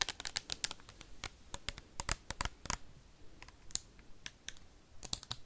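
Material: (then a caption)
Plastic. A partly filled clear plastic hand sanitizer bottle with a label and white cap is tapped and scratched with paperclips worn on fingernails. The result is a fast, irregular run of sharp, bright clicks that stop almost instantly, with faint scratchy noise between them.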